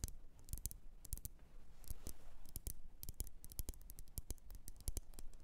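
Long nails tap the rim and sides of a lit, wax-filled red glass candle jar. The result is a quick, irregular run of sharp, bright clicks, each dying away almost at once over a low, steady background hum.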